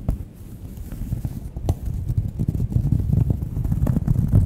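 Long nails scratch and tap across the surface of a thin, solid round cork coaster held close to the microphone. The result is a dense, muffled, low-pitched rustle with soft, irregular tapping clicks, growing slightly louder toward the end.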